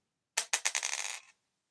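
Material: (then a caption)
Zinc. A zinc penny is tossed onto a cherry wood table as a ping test. It lands with three separate bright, high metallic pings, then settles in a quick rattle for about half a second. The ping is duller than a copper penny's, identifying the coin as zinc.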